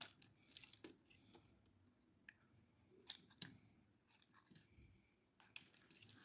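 A hand-sized solid bar of dry pink soap, held in the hand, is scraped with a metal utility blade that shaves its edge. Quiet, bright, crisp scraping and crumbly crackling is heard, broken by short sharp ticks as the blade catches the soap.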